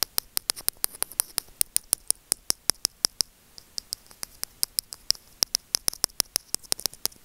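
Curved steel tweezers scratch and tap the casing of a small, hollow, white plastic earphone microphone remote held by fingertips. About forty sharp, very short, bright clicks follow in a quick, uneven patter with almost no low end, and a brief pause comes just past the three-second mark. Each tap dies away instantly over a faint hiss.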